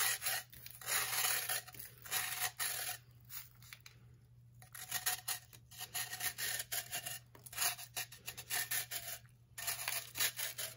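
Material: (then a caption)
Baking soda. A knife blade repeatedly scrapes and shaves the surface of a solid, blue-tinted compressed baking soda block held on a wooden table, and loose powder falls around its base. The strokes make bright, dry, gritty rasping in irregular bursts with brief quiet gaps, over a faint steady low hum.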